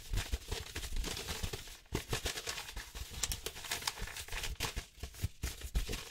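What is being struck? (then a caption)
Kraft paper envelope. Fingertips and short nails quickly tap and scratch across a thin, flat, empty-looking brown kraft paper envelope or folder. The result is a dense, fast run of dry crinkling scrapes and soft low thumps with bright, crackly paper texture and brief pauses between bursts.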